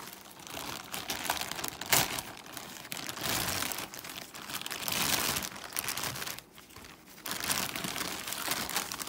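Fingertips grip, crumple and rub the thin, flexible film at the sealed edge of a large, hollow white-grey plastic Amazon poly mailer bag with the smile logo while opening it. The result is continuous bright crinkling and crackling, with a sharp louder crunch near two seconds and a brief quieter stretch before the rustling picks up again.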